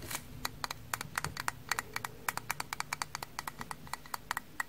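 Frozen-stiff kitchen sponges are tapped, producing about thirty rapid, hard, dry clicks with a bright, sharp edge instead of the soft sound of sponges. Each click is very short and dies away almost instantly over a faint low background rumble.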